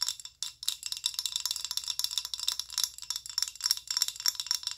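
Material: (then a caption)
Plastic. Long acrylic nails tap a filled amber rigid plastic body lotion bottle of about 190 ml. The result is a fast, irregular run of bright, sharp clicks with very short decay and almost no low end.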